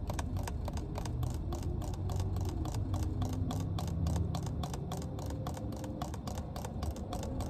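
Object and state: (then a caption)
Plastic water bottle cap tapped with nails. Long nails tap rapidly and steadily on the cap of a full, clear plastic water bottle inside a car. Each tap makes a short, bright click over a constant low rumble that fills the clip.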